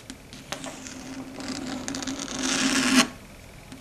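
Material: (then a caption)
Slate. Very long, pointed red stiletto nails scratch and tap across a large, solid, flat dark gray chalkboard. Brief taps give way to a rising, rasping scrape that grows bright and harsh, with a steady squeal near 240 Hz. It peaks at about three seconds, then cuts off into quiet.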